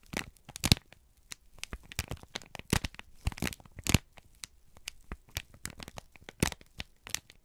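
A folded, crinkled sheet of brown kraft paper is held in both hands and squeezed and crumpled with the fingertips. Sharp, dry crackles and crinkles come in irregular bursts, with bright broadband snaps reaching into the high frequencies and a soft low rustle between them. Each crackle stops almost instantly.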